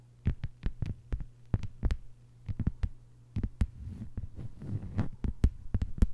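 Long white nails tap and scratch a thin, flat green plastic cutting board with a hanging hole, giving 19 short, dry, clicky taps over a steady low hum. Between 4 and 5 seconds, softer scratching fills the gaps before the quick taps return.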